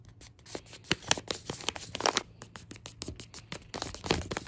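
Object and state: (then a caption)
Plastic foil pouch. A fingertip traces and rubs across the printed front of a filled Uncle Ben's Ready Rice plastic laminate pouch. The result is a quick run of dry, bright scratching and crinkling strokes, some sharp and some softer, with little low end and no ring after each stroke.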